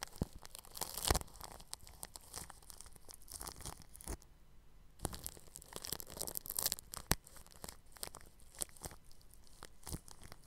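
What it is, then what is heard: Cling film over a microphone, brushed. A bristle paintbrush brushes across clear plastic cling film stretched over a round microphone's grille, making close, crinkly, scratching strokes with bright hiss and low rumble. The strokes come in quick irregular bursts, with a brief quiet pause around the middle.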